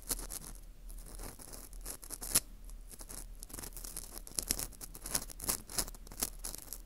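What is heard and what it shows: A porous dried wheat gluten ring (fu) held in gloved hands is scraped inside its hole with an orange plastic earpick. The result is soft, continuous, bright scratching and crackling, with crisp high clicks that sharpen briefly near the middle and come more often toward the end.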